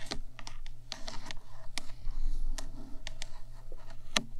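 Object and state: Metal microphone body tapped with nails.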